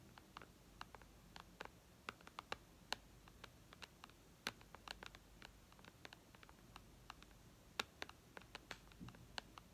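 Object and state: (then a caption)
Fingernails tapping a glass tablet screen. Long red nails tap quickly and irregularly on the glass screen of an iPad lying flat. Each tap is a soft, bright click that stops almost at once, heard over a quiet, steady background hiss.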